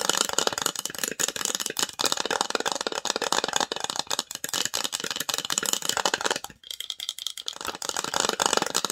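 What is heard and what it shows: Long nails tap and scratch the lid and sides of a small, hollow, varnished wooden box with an engraved logo on the lid, held in the hands. The result is a dense, fast stream of dry, bright clicks and scrapes, with a brief pause near the 6.5-second mark before the tapping resumes.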